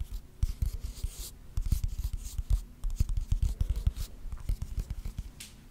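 Fingernails tap and scratch on a small rectangular wooden box with grooved edges held close to the microphone. Many short, dull, low taps come in uneven clusters, mixed with soft, brighter scraping sweeps.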